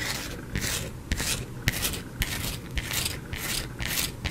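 Painted nails scratch and scrape a solid white soap bar held in the hand near the microphone. Repeated dry, rasping strokes come in bright hissy bursts, with soft low taps from the nails against the bar, at a loose, uneven pace of a little under two strokes per second.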